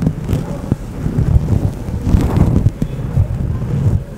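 Fingertips and nails scratch and rub a large, grey, fluffy synthetic-fur microphone windscreen, a soft, hollow cover over a microphone. The result is a dull, muffled rustling rumble, almost entirely low-pitched with no bright edge. It swells and fades unevenly as the strokes continue.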